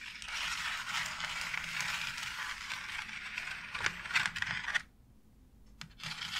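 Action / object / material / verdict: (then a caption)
scrape / thin embossed plastic wall panel / plastic / none. Long nails scratch and tap across the textured bricks of a thin, light, white embossed plastic faux brick wall panel. A steady, bright, hissing scrape runs for nearly five seconds, with a few sharper clicking taps near the end. After a brief near-silent pause, the scratching resumes.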